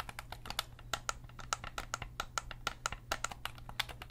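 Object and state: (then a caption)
Plastic game controller buttons clicked. Fingertips click and tap the shoulder buttons and face buttons of a hollow black plastic Sony DualSense gamepad. It makes a quick, uneven run of sharp, dry clicks with a bright edge and a firm tone near 1.3 kHz, each cut off instantly. A faint steady low hum sits underneath.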